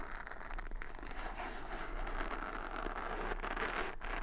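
Long nails scratch and flick the padded bristle side of a wooden paddle hair brush decorated with beads, held close to the mic. A steady, dense, crackling scrape runs throughout with fine rustling ticks over a low constant hum.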